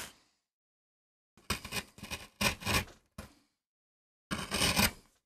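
A small steel gouge cuts repeated short strokes into a flat, solid MDF relief printing block, curling up shavings. The sped-up clip gives bursts of dry, bright, broadband scraping, separated by brief silences, with a longer final stroke.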